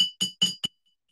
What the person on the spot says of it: this jar had no water so the vibrations were very fast and the sound was very high